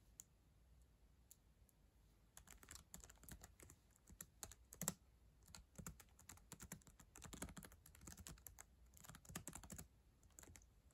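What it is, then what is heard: Plastic laptop keyboard. Long acrylic nails and fingertips type fast on the plastic keys of a black ThinkPad laptop keyboard, a solid device. A few sparse, quiet clicks open the clip, then from about two and a half seconds dense bursts of short, sharp key taps and bright nail clicks follow in quick runs over a low, soft background.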